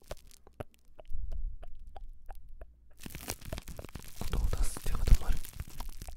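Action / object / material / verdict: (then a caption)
scrape / crumpled ball of plastic cling wrap / plastic film / none. A small, hand-sized wad of clear plastic kitchen cling wrap, loosely crumpled and airy, is held near the mic in the left hand while right fingertips and nails scratch and squeeze it. For the first half, scattered sharp ticks and crackles sound over a low hum. Then it bursts into dense, bright, continuous crinkling to the end.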